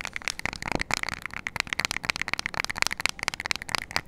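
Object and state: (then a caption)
Plastic remote control. Long nails rapidly tap and scratch the rubber buttons of a small, flat plastic LED IR remote control held close to the mic. The result is a dense stream of crisp, dry clicks and scratchy ticks, bright with a focus around 2.2 kHz and almost no low end. Each click stops instantly with no ring.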